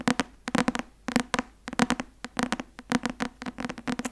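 Long nails tap the cover of a thick white and blue Academia Iuris softcover textbook held up. The result is a quick, irregular run of dry, sharp clicks with a low thud around 230 Hz and bright upper edges, each dying away almost at once.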